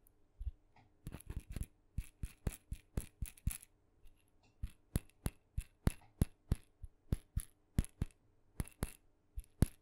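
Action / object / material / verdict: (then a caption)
tap / small wooden maraca / wood / none. Long nails tap a small, hollow, painted wooden mini maraca, red with blue dots, held in the hand. Around thirty quick, dry taps come as separate clicks, some in tight bunches, each with a bright crisp edge and a soft low knock that dies away at once.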